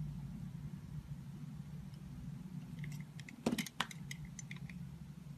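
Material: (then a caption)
Soap. A utility knife blade cuts and scrapes thin slices from a small, solid, layered soap bar held in the fingers, with a turquoise outer layer and an orange-and-white patterned core. Over a steady low hum, a run of short, crisp, bright scraping clicks starts near the middle and peaks in a few sharper cuts before the low background returns.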